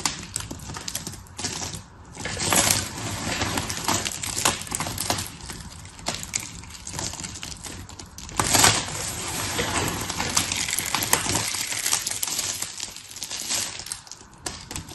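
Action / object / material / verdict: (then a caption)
scrape / pile of thin soap shavings / soap / none. Two hands with long red-painted nails scoop, squeeze and rub a loose pile of thin, solid blue, pink and white soap shavings between the fingers on a patterned paper surface. The result is a steady, bright, crisp crackling and rustling made of many tiny crunches, swelling louder around 2.5 and 8.5 seconds before settling back.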